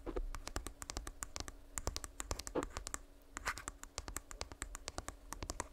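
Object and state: Earbud charging case.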